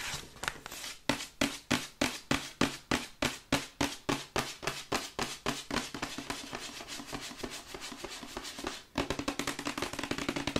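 Long nails tap quickly on the front and side panels of a printed paperboard Yeti microphone box as it is held and turned in the hands. About 39 short, crisp taps land in a steady rhythm with a hollow, boxy tone. After a brief pause near the end, a faster, denser run of tapping follows.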